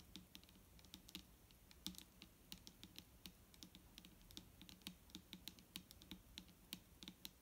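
Long fingernails on both hands tap rapidly across the body of a large, clear plastic micellar water bottle that is full of liquid and lying flat. The result is a steady, uneven patter of crisp, bright clicks, each with a soft, hollow low thump underneath. Every tap dies away almost instantly.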